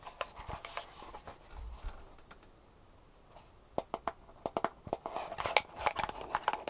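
Long painted nails tap and scratch the sides and lid of a small, hollow, closed kraft cardboard jewelry box with a label, held in both hands. Soft, papery scratching and a few light taps give way to a brief near-silent pause. Then come quick, uneven bursts of crisp, bright, hollow taps with very short ring.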